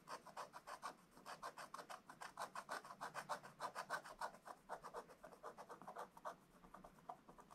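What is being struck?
Scratch-art coated paper scratched with a wooden stylus.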